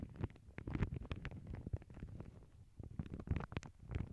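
Long glittery acrylic nails tap and scratch the surface of a small, flat, empty lavender paper bag lying on a cork board over earbud mics. The result is a quiet, muffled stream of soft, low thumps and brief papery scratches with very little brightness.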